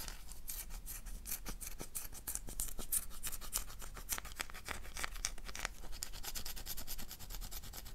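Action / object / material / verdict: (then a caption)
scrape / bar of soap / soap / none. Long dark nails scratch the surface of a solid oval black bar of soap held in the hand. Rapid, dry, crisp scraping strokes follow one another with a bright, hissy edge over a steady low background rumble.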